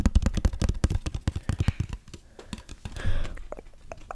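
A small, hollow teal cardboard gift box with a satin ribbon is held in front of the microphone and tapped and scratched with fingertips and nails. A quick run of dull, low, hollow taps with almost no ring gives way to softer, sparser taps and a brief, rougher scratching sound.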